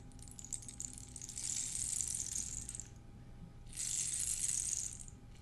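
A long, hollow, ribbed dried cactus-skeleton rain stick is held upright in one hand, tilted and shaken so its filling rattles inside, with some fingernail rubbing along the ribs. The bright, high, pattering cascade comes in two swells separated by a short, quieter pause, with little low-end weight.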